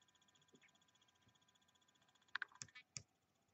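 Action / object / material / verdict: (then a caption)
tap / small plastic die tapped with fingernails / plastic / none. A small solid white plastic die with red and blue pips is held up and tapped and scratched with long metallic-painted nails while other dice rest untouched on the table. Faint, soft scratching ticks give way to four sharp, bright clicks near the end, each dying away almost instantly.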